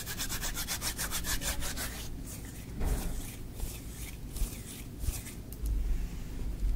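Bare hands and fingertips rub, press and squeeze green kinetic sand in a tray. Quick, even, bright gritty strokes fill the first two seconds, then slower soft scrapes and squishes follow over a steady low rumble.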